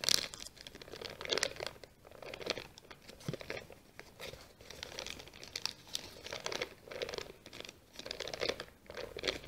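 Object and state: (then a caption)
Pleated kraft paper sheet. A brown kraft paper sheet with a small white sticker, folded into accordion pleats, is held in both hands, squeezed together and opened out while long nails scratch the folds. This makes a steady, bright crinkling and crackling with quick scratchy rustles. The sound comes in repeated swells about a second apart with almost no ring.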